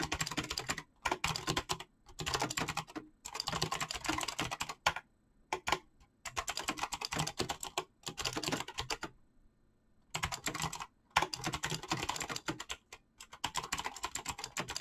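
Fingertips type rapidly on a full-size backlit mechanical keyboard with PBT plastic keycaps. The result is dense bursts of bright, crisp clacks with a thin low thud underneath, separated by short pauses. Each keystroke cuts off almost instantly with no ring.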